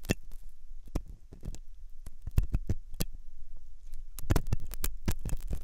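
A metal dental pick scrapes inside the hollow canal of a white, soft silicone ear on a binaural microphone. Irregular, close scratchy and crackling strokes follow one another in quick bursts over a deep, muffled rumble.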